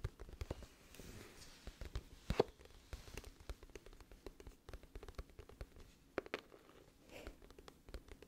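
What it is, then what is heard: Cardboard album case. A glossy, hollow cardboard music album case is held up while long fingernails rapidly tap and scratch on its front and corner. The result is a quiet, dense run of short, dry clicks and light scratches with two sharper taps standing out.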